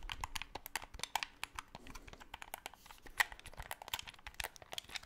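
A black, hollow plastic Xbox 360 controller with colored buttons is handled as fingertips rapidly click its buttons and sticks close to the microphone. The result is a dense, irregular stream of sharp, dry plastic clicks and taps with a bright, crisp edge and almost no ring, over a faint low background.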